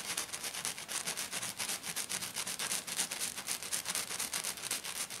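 Long black nails scratch the rough surface of a flat silver glitter-coated sheet on a table, using both hands. The result is a fast, steady run of bright, hissy scratching strokes, about four per second, with almost no low end.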